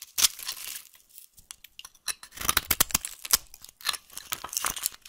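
A solid, dry, translucent yellow soap bar is held in the hand and scraped and carved with a utility knife blade. Many sharp, bright crunching and crackling scrapes are heard, separated by short pauses, with almost no low end.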